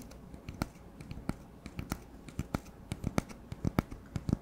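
Fingertips tap rapidly along the surface of an empty, hollow brown cardboard paper towel roll held close to the mic. The quiet, uneven taps land as dull, hollow thumps weighted toward the low end, with faint bright clicks and almost no ring after each one.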